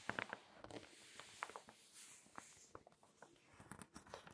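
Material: Glossy paper.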